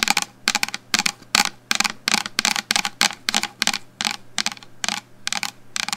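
A medium black plastic shampoo bottle, held upright in front of the microphone, is tapped continuously with long fingernails, giving about 17 quick, bright, clicky taps that die away almost instantly. A faint low steady hum runs underneath.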